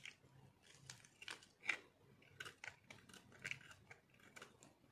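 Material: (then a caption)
Soap. A metal knife carves and shaves crunchy pieces off a solid, palm-sized white dry soap ball with orange speckles held in the hand. A quiet series of short, dry, crisp crunches and scrapes is heard, bright and centred around 2 kHz with almost no low end. Each cut dies away almost at once.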